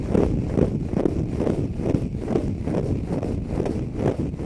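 A small, dry, green konjac fibre sponge, soft and porous and held in both hands, is scratched and rubbed with fingertips and short nails close to the mic. The result is a steady run of soft, muffled scratching strokes, about two per second, with a dull low-heavy rustle and no bright edge.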